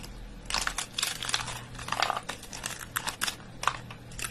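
Bare fingers and palm squeeze and crush handfuls from a pile of thin, brittle, dry soap curls. The chips crackle and break in dense, bright, crunchy bursts that rise and fall with each squeeze, over a faint steady low hum.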